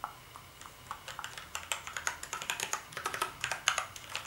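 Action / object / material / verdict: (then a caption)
tap / plastic computer keyboard / plastic / none. Fingertips type on the keys of a black plastic gaming keyboard, producing about two dozen quick, bright clicks that start sparse and grow denser and louder. Each keystroke is a short, sharp tick with almost no low end and very little ring.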